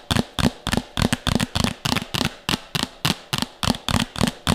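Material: Plastic.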